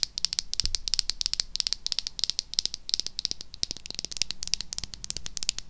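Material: Plastic.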